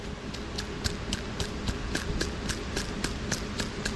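A failed steel roller lifter from a Hemi engine, its roller bearings worn out, is worked by hand, giving a rapid series of about 14 sharp metallic clicks and rattles over a low background hum. The loose roller clatters from the wear instead of turning smoothly.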